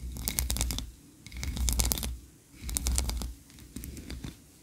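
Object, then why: Wax candle. Long nails rapidly scratch and tap the upper tiers of a solid white, ribbed wax tree-shaped candle. The sound is dry, crackly scratching broken by sharp, bright clicks over a low thumping undertone. It comes in four bursts separated by brief pauses, and the last burst is quieter.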